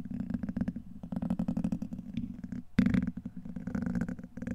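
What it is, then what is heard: Metal mesh microphone grille being scratched. A black plastic pen-like tool scrapes and scratches across the hollow, rounded steel wire-mesh head of a large condenser microphone. The result is a dense run of rapid, gritty scratching bursts over a low, rumbling buzz, with a sharper, louder scrape partway through.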